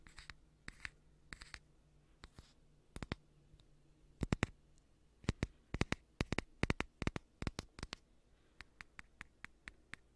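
A small, hollow, gold aluminum coffee pod, likely empty, is held close to the microphone and tapped and scratched with the fingertips. Dozens of sharp, dry, bright clicks come in quick clusters and scattered single taps, with faint scratchy rustling between them over a low steady hum. Each tap dies away almost instantly with no ring.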